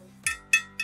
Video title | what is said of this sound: Live Webinaire - Drivers GT [Replay] | ça sonne comme du métal